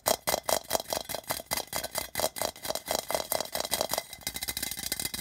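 Fingers tap and scratch the printed sides of a hollow, patterned metal tin can resting on a red carpet. A fast, aggressive run of sharp metallic taps with a hollow tinny ring around 600 Hz and bright, rattling scratches, the taps blurring into a quicker flutter near the end.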